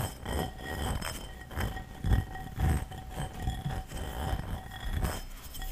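A medium light-blue textured ceramic bowl, hollow and empty, is held in the hands and turned over while its outside and base are tapped and scratched with long fingernails close to the microphone. About eight irregularly spaced, dull, low taps with very short ring rise out of a soft, continuous scratching texture, over a faint steady tonal hum.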